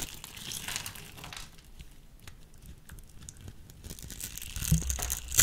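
A solid peach soap bar, scored in a grid, is crumbled and scraped with a small metal blade. Dry crinkling and crunching scrapes come in uneven bursts with bright, high crackle. A sharper snap and crunch near the end is the loudest moment.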